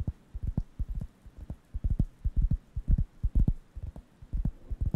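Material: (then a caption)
Wood. A round, flat, thin, solid wooden (cork-like) coaster is held near the microphone and scratched and tapped with the fingertips. The result is a quick, irregular run of soft, dull, low thuds that die away almost instantly, with almost nothing bright above them.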